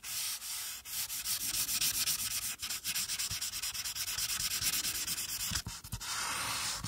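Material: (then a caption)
Paper. A marker tip is rubbed along the top border of a flat paper coloring sheet on a clipboard, with a hand with long nails resting on the page. A steady, bright, hissy scratching of rapid back-and-forth strokes carries on with only brief dips near 0.8, 2.6 and 5.7 seconds, and there is almost no low end.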